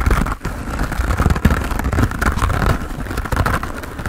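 A hand-sized grey textured foam sponge on a tan foam base, solid and porous, is held in both hands and scratched quickly with fingernails. The result is a dense, continuous rough scratching with a heavy low rumble and a crinkly mid-range hiss. It stays at a steady level, with one brief dip near the start.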